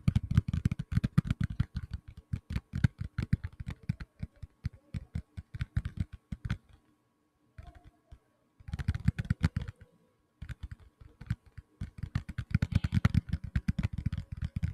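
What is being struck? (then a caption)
Tablet in a plastic case. Fingertips and nails tap rapidly on the back of a black tablet in a plastic case, making dry, dull clicks and thumps with a low, short-lived body and a little bright click on top. The tapping runs in quick bursts, stops briefly for a near-silent pause in the middle with a few faint taps, then resumes just as fast until the end.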